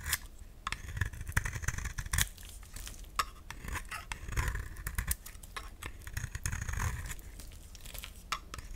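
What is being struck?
Round bar of soap.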